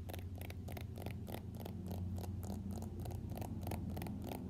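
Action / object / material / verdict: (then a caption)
tap / smartphone in a plastic case / plastic / none. Fingernails tap and scratch an iPhone X held sideways in a floral-printed plastic case. Quick, uneven clicks and scratches repeat about four times a second over a steady low hum.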